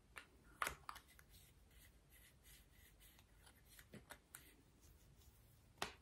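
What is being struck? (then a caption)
Small metal lipstick case. Fingernails scratch and tap a small, hollow rose-gold metal lipstick case held in the hand. Soft, continuous scratching runs throughout, broken by a few sharp, bright clicks that die away almost instantly. The loudest tap comes near the end.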